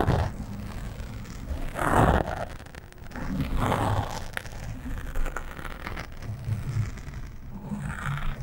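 A fingernail scratches and rubs along the sides of a black foam windscreen on a microphone, sometimes fast and sometimes slow. It makes dense, muffled scraping and rustling with a heavy low rumble, rising into louder brushy swells around the 2- and 4-second marks.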